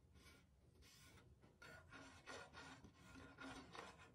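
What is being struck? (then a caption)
Glazed ceramic body of a small clay drum. A long fingernail scratches near the base of the painted, glazed ceramic body of a small hollow clay drum with a skin head, one of a tied pair. Quiet, raspy scratching strokes come in uneven bursts, with a bright grainy hiss and a faint tonal hum around 450 Hz.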